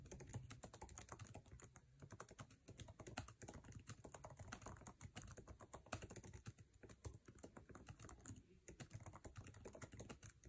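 Fingertips tap fast on a MacBook Air keyboard with plastic keycaps set in an aluminum chassis. The result is a dense, continuous stream of quick clicky keystrokes with low, thumpy body and bright tops. Each tap dies away almost instantly.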